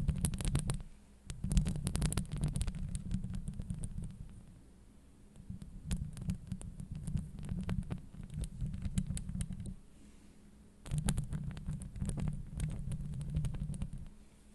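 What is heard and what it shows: Long nails scratch across a hollow metal mesh microphone grille. The scratching comes through as deep, boomy rumbling strokes with faint bright crackle on top, in rough bursts separated by brief quieter pauses.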